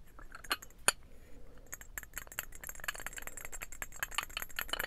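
A small, hollow, painted ceramic trinket box shaped like a birdhouse is held in both hands and tapped and scratched with the fingernails. It gives quick, bright clinks and faint scratching, with two sharper taps near the start and then a steady run of light, dense clicks.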